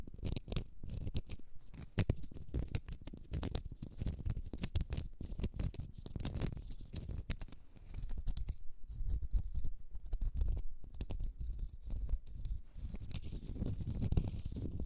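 Long red nails scratch a small, solid, round cork stopper. The result is a dense run of rapid, dry scratches and ticks with a low, muffled body and brief bright edges, each stroke dying away at once.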